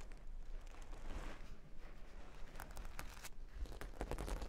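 A flat, solid cork board covered with plastic half-pearl stickers is moved, then long pink nails on both hands scratch across the studs. The result is a soft, dry, crinkly scratching with short clicks and a low rumble underneath, at a quiet level.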